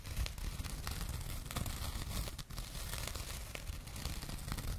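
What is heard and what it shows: Long painted nails scratch a small, flat, soft, hollow burlap jute drawstring pouch held close to the microphones. It gives a steady, dense scratchy rustle with a heavy low rumble and scattered bright crisp ticks, briefly dipping near the middle before continuing.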